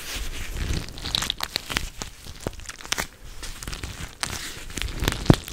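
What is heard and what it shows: A teal-rimmed clear plastic cooling pad filled with gel beads is squeezed, scratched and bent with long nails and fingertips close against the mic. The sound is a dense run of crinkling and crunching plastic with sharp, quick clicks and scrapes over a soft low rumble. Each click dies away almost at once, and one loud crackle near the end stands out.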